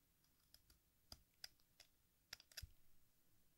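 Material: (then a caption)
Chalk. An exacto knife blade scrapes and shaves the red face of a small, solid piece of watermelon-shaped sidewalk chalk (red face, green rind) held over a pink bowl, and red chalk dust falls into the bowl. The blade gives seven short, bright, crisp scraping clicks, irregularly spaced, each dying away almost at once over a quiet low hiss.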